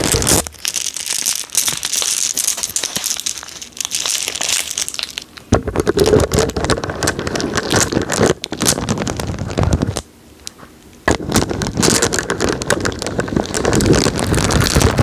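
Blue glass marbles in a plastic mesh net bag are held by the fingertips over the mic, squeezed and rolled so they clack and grind against each other. The result is a dense, continuous run of bright clicks and crinkly grinding. A lighter, thinner passage comes first, then a fuller and heavier section, with a brief near-silent pause around ten seconds before the clacking resumes.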